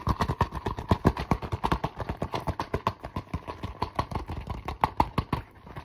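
Fingertips and nails tap and scratch fast across a flat, mostly empty holographic faux leather zipper pouch, an iridescent, textured synthetic leather cosmetic pouch. A rapid, steady string of short, dry taps with soft, dull low thuds and a slight papery click near 1 kHz continues throughout. The taps die away almost instantly and grow quieter near the end.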